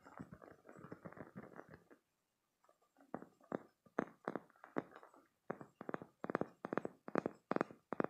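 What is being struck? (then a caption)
Spiky silicone squeeze toy. A green spiky silicone stress toy is squeezed between both hands and scratched with short nails. Quick, soft rubbery scratching and squeaking bursts come in clusters, with a brief pause near two seconds. They then return as a steady run of louder, regular strokes.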